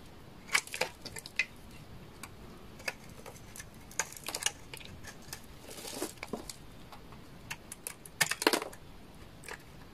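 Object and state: Dry laundry soap bar being shaved.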